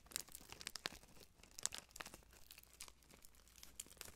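A long, thin, clear cellophane-like plastic wrapper strip with printed labels, light and hollow, is held up close to the microphone and crinkled and twisted between fingertips with blue-painted nails. Quiet, bright, sharp crackles and snaps come at an irregular pace, each dying away almost instantly, over a faint low hum.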